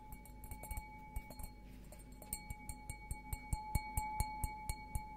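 An empty stemmed glass beer goblet is held sideways and tapped on the bowl with fingertips and nails. The taps make short, bright clinks over a faint low hum, each leaving a steady glassy ring. The taps are sparse and quiet at first, then grow louder and more regular toward the end.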